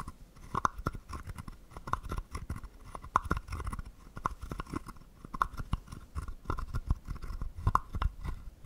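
A wooden stick scrapes along the ridges of a small, hollow, carved wooden frog guiro held in the hand. It produces a steady series of short, dry, crunchy clicks that ring with a hollow woody tone around 1 kHz over soft low thumps. Each click stops almost instantly, with no lingering ring.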